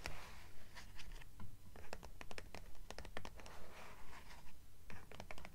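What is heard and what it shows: Long nails tap and scratch the cover of a purple hardcover book lying on a stack. Quick, steady taps land as crisp, bright clicks over a soft, low thud, with dry scratching drawn across the cover between them. Each tap dies away almost at once.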